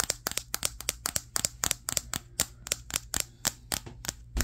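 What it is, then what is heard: Smartphone glass back tapped. Fingertips quickly tap the matte glass back of a Samsung Galaxy S23, the recording phone itself, held in both hands before a mirror. About 20 sharp, dry, bright clicks come at an uneven, rapid pace, each dying away almost instantly.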